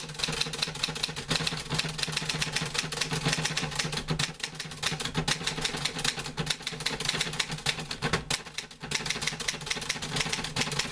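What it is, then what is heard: Metal manual typewriter being typed on. A green-grey metal portable manual typewriter with paper loaded is typed on with fingertips, producing a rapid, steady stream of sharp, bright key clacks over a low mechanical hum. A hand also works the carriage return, and the typing briefly thins around the fourth and ninth seconds before carrying on.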